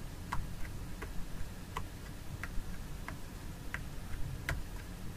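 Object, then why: Small plastic jar lid. Long nails tap the plastic lid of a small jar filled with fragrance gel. The result is a steady series of light, crisp clicks with a ticking rhythm, each one dying away almost at once over a low, rumbling background hum.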